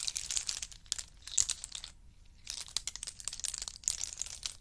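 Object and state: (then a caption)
Pile of in-shell pistachio nuts. Hands scoop handfuls of pistachios in hard shells and let them trickle back onto a pile of in-shell pistachio nuts. The shells make dense, bright, crisp clicking and rattling with a short quiet pause near the middle before the trickling resumes.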